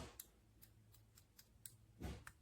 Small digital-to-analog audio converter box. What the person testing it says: something loose inside and I don't think that's going to work well